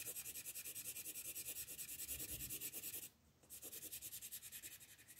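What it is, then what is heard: Colored pencil shading on paper. An orange colored pencil shades a large area of a flat paper coloring book page with quick back-and-forth rubbing strokes. The strokes make a steady, bright, scratchy hiss, pause briefly after about three seconds, then resume slightly softer.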